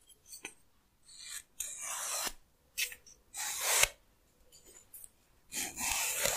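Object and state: Wooden comb teeth scratched.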